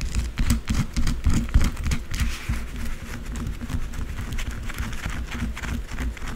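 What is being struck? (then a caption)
Bar of soap scratched and tapped with long fingernails. Long blue acrylic nails scratch and tap quickly across the top and sides of a solid white bar of soap resting on a dark surface. Dull, low thuds from the taps sit under rapid, dry scratching bursts with a bright edge. The taps fall in an uneven rhythm and stop sharply with almost no ring.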